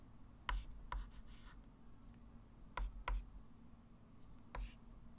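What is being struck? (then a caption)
Chalk stick on a small chalkboard. A white chalk stick writes fractions and draws loops on a small, solid, wood-framed flat chalkboard, scratching and rubbing across the board. Five sharp chalk taps with a tonal ring near 1 kHz stand out, each trailing into a brief, bright scratch over a low, steady hum.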